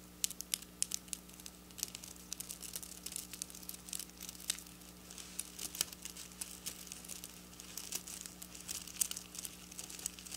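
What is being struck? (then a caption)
Plastic sequin fabric. Long black nails scratch and flick silver plastic sequin fabric, slightly lifting the fabric's edge. The result is a quiet, steady stream of bright, crisp clicks and crinkly rustling with sharp ticks throughout, over a faint low, constant hum.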